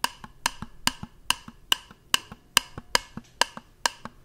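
Fingertips tap a small, hollow, round white plastic jar held up close to the microphone. Eleven sharp, dry, bright clicks ring out with a hollow knock near 2.9 kHz, each followed by a softer tap in a loose two-beat rhythm. Every hit dies away instantly.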